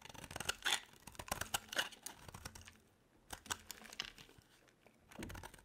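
A metal utility-knife blade scrapes and carves curls off a hand-sized solid bar of dry soap, blue outside and white inside, held in one hand, while the shavings pile up. Crisp, dry scraping and crackling comes in irregular bright bursts with short pauses, one longer lull near the middle.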